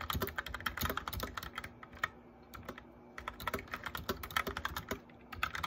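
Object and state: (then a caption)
Plastic mechanical keyboard. Fingertips of both hands type on a white plastic mechanical keyboard with backlit keys. Quick, bright clacks with a low thump beneath come in rapid bursts, with a brief near-quiet pause in the middle before the typing resumes.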